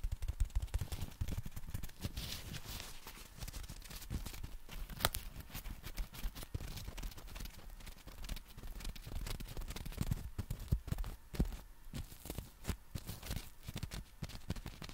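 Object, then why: Folded nylon umbrella with plastic handle. Fingertips scratch and tap the folded nylon canopy and plastic handle of a compact black umbrella held horizontally. The result is a dense, continuous stream of quick, dry taps and scratchy rustling, mostly low and muffled, with occasional sharper clicks standing out.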